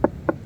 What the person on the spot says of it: iba ang tunog mga soyo no? Pag may lambat.